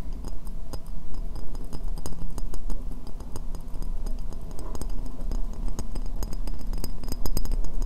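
Long nails tap and scratch around the foot ring of a hollow, empty white ceramic bowl held upside down. Rapid, irregular sharp clicks and scratchy ticks that die away almost instantly ride over a steady low hum.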